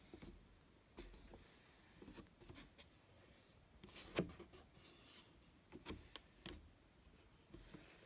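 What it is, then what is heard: Cardboard watch box. Fingertips and nails rub and scratch across the top and sides of a closed, medium-size, hollow white cardboard outer box for a post-2015 Rolex watch box, which has an embossed crown logo on the lid. Soft, dry scratching and rubbing comes in short, bright bursts over a quiet background, with a few sharper scrapes standing out.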